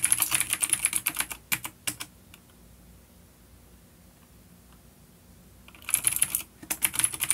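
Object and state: Vintage mechanical keyboard with clicky switches.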